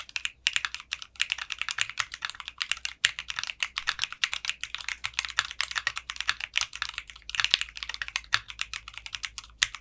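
Fingertips type steadily on a mechanical keyboard with clear pink polycarbonate keycaps and a translucent case. Rapid, bright clicky keystrokes dominate, with almost no low end and short, dry decays.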